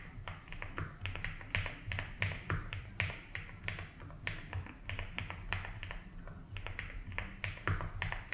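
Fingertips slowly type on a 75% mechanical keyboard with ABS keycaps in a light blue plastic case. Each keypress is a short, crisp tap that is bright in the upper-mid range over a steady low hum, with a gentle, unhurried rhythm.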